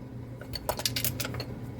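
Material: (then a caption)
Metal. A variable AC transformer is shaken, and a loose fuse rattles inside its housing. Several sharp metallic clinks and rattles sound over a low steady hum. The rattle is traced to the loose fuse, with its back end visible down inside the fuse holder.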